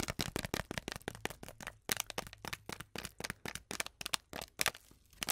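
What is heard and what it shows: Long acrylic nails rapidly tap and scratch a small, flat, sealed Twinings tea packet, a foil-lined paper sachet full with its tea bag. The result is a quick run of sharp, bright clicks mixed with crisp, crinkly scratching, each tap dying away almost instantly over a faint low hum.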